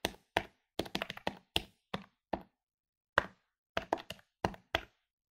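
Fingertips rapidly press the plastic keys of a medium-sized plastic electronic desktop calculator lying on a wooden table. Sixteen short, dry clicky taps come in uneven bursts with a brief pause near the middle. Each tap dies away almost instantly, with a bright midrange tone around 1.5 kHz.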